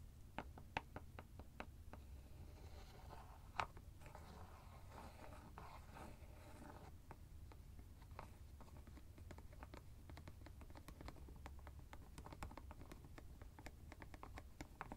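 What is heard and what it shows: Fingertips and nails twist and tap the white plastic screw cap of a teal fabric ice bag that is hollow and apparently empty. Quiet, sharp plastic clicks and taps are scattered throughout, with a stretch of soft scratchy twisting in the middle. A low background rumble runs underneath.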